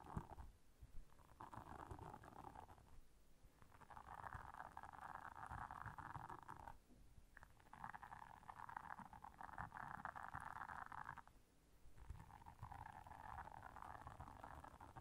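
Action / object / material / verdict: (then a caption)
scrape / silicone bristle scrubber pad / silicone / none. Long nails scratch the bristles of a blue silicone bristle scrubber while hands squeeze the pad. This makes soft, dense scratchy rasping concentrated in the mid range, with low muffled squishing and rubbing beneath it. The scratching comes in long, steady stretches broken by brief pauses near 3, 7 and 11.5 seconds, and stays quiet throughout.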